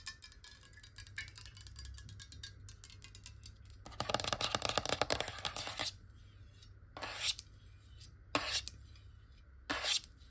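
A clear glass water bottle, hollow and partly filled with water, is held tilted and tapped rapidly with long nails, making bright, dry clicks that die away almost at once. Light, scattered tapping builds into a dense, louder flurry in the middle, then returns as three short bursts, all over a faint steady low hum.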